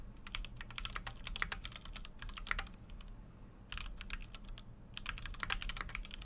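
Continuous fingertip typing on a full-size Keychron Q6 mechanical keyboard with an aluminum case and plastic keycaps. Rapid, short, bright clicks arrive in irregular bursts over a steady low hum, with a brief lull just before the four-second mark before the typing resumes.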